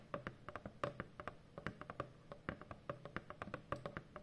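Long fingernails tap across a large, hollow corrugated cardboard shipping box in a quick, uneven run of light clicks. Each tap is short and dry with a faint hollow tone around 580 Hz, and it fades almost at once.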